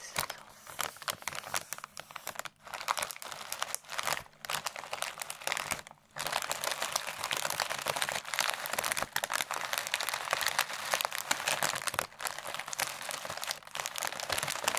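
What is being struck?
Plastic bag filled with shredded paper.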